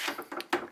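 A loose day/night window shade installed in a bus window is tapped against the window frame, giving four quick, light clattering knocks. It bangs and rattles because it sits loose in the frame.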